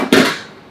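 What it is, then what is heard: Hollow baked puff pastry shell. A baked puff pastry vol-au-vent shell, golden brown after 15 to 20 minutes at 200 to 210 degrees, gives a single light, hollow knock with a short ring that fades over about half a second. The hollow sound shows the shell is done: very light, airy and crispy.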